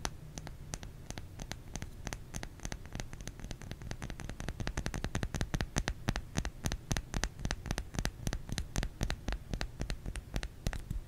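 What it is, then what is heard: Bar of soap. Fingers tap on a solid bar of soap in a quick, uneven patter of short, dry clicks that grow busier and louder partway through. Each tap is sharp and bright with almost no ring, over a steady low hum.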